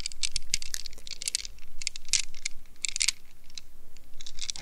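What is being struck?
Rubber stress ball in a net mesh.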